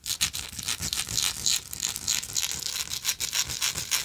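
Long nails tap and scratch a small, hollow, vintage gold-tone textured metal lighter. The result is a quick, irregular run of bright, dry scratches and light clicks with almost no low end. Each sound dies away almost at once.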